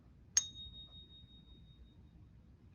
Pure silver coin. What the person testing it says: Pure silver sounds a little bit different. So, this is 100% 999 pure silver. Still resonates, but it's a deeper tone.